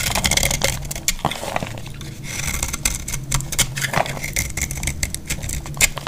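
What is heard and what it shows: A solid rectangular bar of dry green soap, held in the hand, is carved with a metal utility-knife blade into crunchy flakes. Rapid dry crackling and scraping fill the whole clip, bright and crisp, with brief sharp snaps over a low steady hum. Each cut ends almost instantly with no ring.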